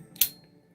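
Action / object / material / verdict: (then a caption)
flick / folding knife with Damascus steel blade / steel / none. A CJRB Feldspar button-lock folding knife with a stainless Damascus steel blade is flicked once on the blade, giving a single sharp, bright metallic "ting" centered very high. It is followed by a short ring, with a thin high tone lingering faintly as it fades.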